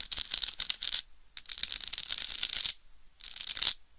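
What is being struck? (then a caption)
Plastic rhinestone-covered microphone cover. Long white nails tap and scratch over a hollow, head-sized, egg-shaped microphone cover densely covered in small pink plastic rhinestones. Three bursts of bright, crackly clicking and scraping rattle across the jeweled surface, separated by short quiet gaps. Each burst fades almost at once, with no ring.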